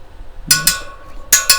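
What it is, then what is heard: Steel motorcycle wheel spokes tapped to check tension. Steel spokes of a freshly laced and trued KTM motorcycle wheel are tapped one after another around one side to check that they are tight. Four bright, high-pitched metallic pings come in two pairs, each ringing briefly.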